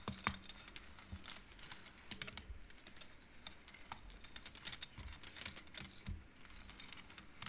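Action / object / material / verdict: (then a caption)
flick / wooden abacus beads on metal rods / wood / none. Fingertips and long nails push and flick the colorful painted wooden beads along the metal rods of a wooden-framed abacus. The beads clack against each other in a rapid run of short, bright, dry clicks with almost no ring, over a faint low rumble.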